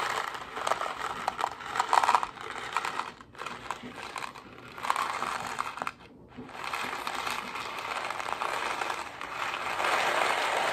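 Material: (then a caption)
Cardboard. A hollow Kraft mac & cheese cardboard box holding dry pasta is held up and tapped quickly with fingernails. The result is a dense, fast, papery clatter centered in the midrange with no low end, broken by two brief pauses near 3 and 6 seconds before the tapping resumes steadily.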